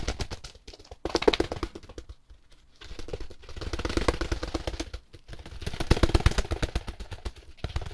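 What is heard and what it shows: Gloved fingertips quickly scratch and tap a solid compressed hay block in clear plastic wrap with a label, turning it while they work. The result is dense, rapid crinkly scratching and soft tapping with a heavy low body, broken by a couple of brief quieter pauses.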